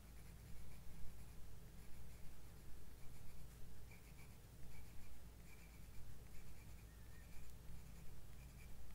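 A hand shades a moth drawing with short strokes of a graphite pencil on thin white drawing paper in a spiral-bound sketchbook lying flat on a wooden desk. The pencil tip makes soft, quiet scratching sounds in uneven bursts over a steady low hum.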